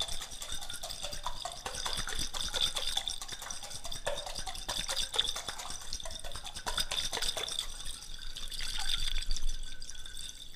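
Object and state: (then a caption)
Glass jar of water shaken. A small clear glass jar, partly filled with water and what look like ice or crystals, is held in one hand and shaken and tilted close up. The water and contents slosh and clink against the glass in a steady, irregular stream of quick bright ticks over a soft wet wash, with a high ringing tone running through the clinks.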